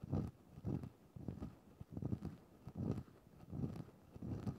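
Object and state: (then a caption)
Synthetic fur microphone windscreen being scratched. A thin wooden stick is pushed into a grey faux-fur microphone windscreen and scratched around in the fur. It makes soft, muffled, low-pitched rustling scratches that come in repeated bursts, with almost no bright, high content.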